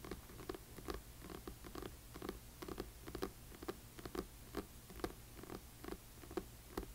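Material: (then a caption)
Cardboard and paper. Long nails of both hands tap the front cover of a large, solid hardcover book with a glossy paper dust jacket lying flat on black cloth. The result is a quick, irregular patter of soft, dull clicks and knocks with almost no ring, over a faint steady low hum.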